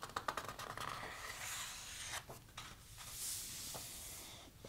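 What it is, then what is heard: Paper softcover photo book. Hands turn the coated paper pages of a large, thick softcover photo book and rub their fingertips over them. The sound is quiet and papery: a cluster of crisp, bright flicks and crackles at the start, then soft rustling, swishing rubs and a few more sharp page snaps.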